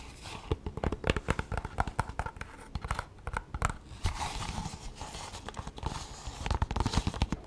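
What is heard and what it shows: A hollow, cylindrical Bolivian souvenir pencil case of painted leather that appears to be pyrographed, roughly 20 cm long, is held in both hands and tapped and scratched with long manicured nails. A dense run of short, dry taps and scratchy crinkles fills the clip, with low thumps under brighter scraping.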